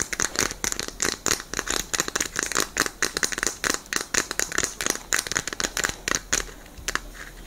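A small plastic Rubik's-style puzzle cube with orange and white stickers is held in both hands and tapped with long nails, giving around 33 quick, bright taps. The loose pieces click and rattle with almost no low end, and the tapping fades softer toward the end.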